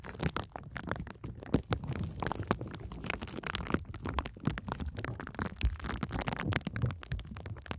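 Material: Plastic.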